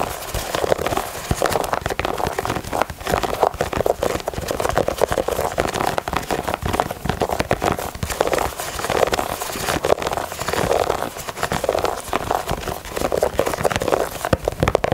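Long nails scratch and tap across the translucent, ribbed rubber midsole of a Yeezy 350 knit sneaker held in the hand, with its solid sole. The result is a steady, dense stream of crackly, crinkling scratches and quick dry taps, centered in the midrange with little deep bass and only a faint bright edge.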